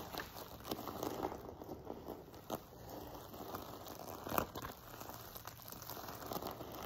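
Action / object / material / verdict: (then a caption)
scrape / fabric pillow covered in flat plastic sequins / sequins / none. Fingertips and nails scratch and rub across a soft sequin-covered fabric pillow, its rows of flat silver sequins resting on a table. The result is a quiet, steady, dry crinkling rustle with scattered sharper clicks and ticks. One louder scrape stands out near the end.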